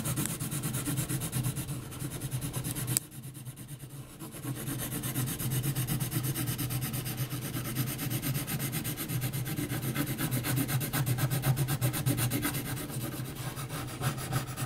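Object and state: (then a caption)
Graphite pencil hatching on heavy paper. The graphite tip of a yellow wooden pencil scratches hatch strokes around a drawn face on a flat, thick, heavy paper sheet. A steady, rapid run of rough, papery scratching continues throughout, with a brief quieter pause a few seconds in before the strokes resume.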